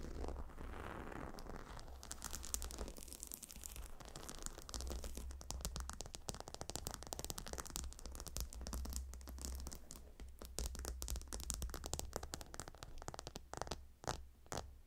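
Long nails on both hands scratch across the stone tiles of a gemstone hot stone pillow. The result is a dense run of quick, dry, bright clicks and scrapes over a steady low hum.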